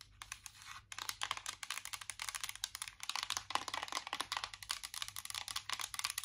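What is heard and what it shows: Long acrylic nails tap fast on the lid of a closed Too Faced chocolate-bar eyeshadow palette, a small, hollow, embossed metal tin. About 38 quick, bright clicking taps land in rapid bursts, with a brief lull near the start. Each tap dies out almost instantly over a faint, steady low hum.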